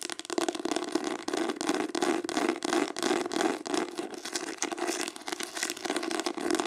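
Fast tapping and scratching with long acrylic nails on a green embossed hardcover book. Rapid, uneven bursts of sharp nail clicks blend with a dry, bright scratching rasp over a steady mid-pitched body tone, with almost no low end.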